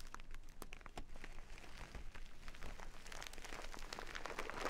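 A small, full jute burlap bag of rice is scratched with long nails and squeezed, with the grains shifting inside. Dense, quiet scratching and crunchy crinkling run continuously, with short bright rasps over a soft, grainy rustle.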